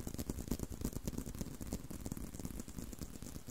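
Fingertips and short nails scratch and tap on a solid tan leather belt strap with holes, held curved. Soft, rapid, uneven tapping and scratching sounds are heard, with a dull, low-heavy body and a faint bright scratchy edge.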